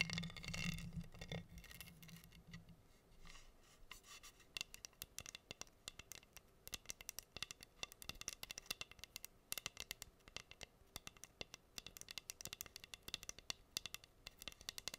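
Long green nails scratch across a flat, solid wooden heart board covered in pink acrylic rhinestones, held in both hands. After a brief fuller, louder rustle at the start, the sound becomes a quiet, steady stream of rapid, bright clicks and gritty scratches as the nails run over the gems. Each click dies away almost instantly.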